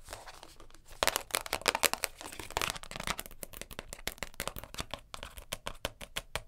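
A round purple plastic container lid, resting on a fur rug and held by its edge, is tapped on top and scratched along its rim and edge with long nails. Fast, bright, dry clicks and scratchy rasps follow one another in quick bursts, each dying away almost instantly.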